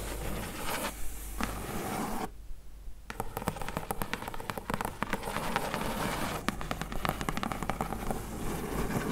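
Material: Cardboard.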